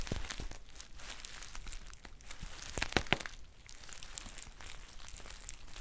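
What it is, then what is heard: Foil tea pouch. A green metallic foil tea pouch is squeezed and crinkled with long painted nails. A dense, steady crinkling and crackling plays throughout, with two sharper, brighter snaps near the middle.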